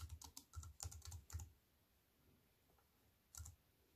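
Fingertips with long nails type on a compact wireless keyboard with black plastic keys on a silver aluminium frame, resting on a wooden table. A quick run of soft, thocky key clicks with bright ticks fills the first second and a half, followed by quiet and one last short burst of keystrokes near the end.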